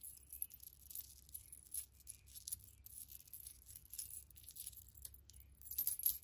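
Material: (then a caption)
Metal. A pile of small solid silver-tone metal charms is held in the palm and scattered on a faux fur rug while long-nailed fingers pick through them. The charms clink and jingle in many quick, bright, light taps with very short ring, over a faint low hum. The sound is steady and quiet, with a slightly denser clatter near the end.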